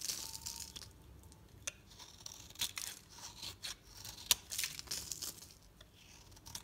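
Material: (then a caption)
Soap. A solid oval pink-red bar of soap is held in the hand and scraped and sliced with a metal utility knife blade, shaving it into brittle flakes. The blade makes bright, crisp scraping and crackling sounds, with sharp crunchy snaps scattered throughout and very little low end.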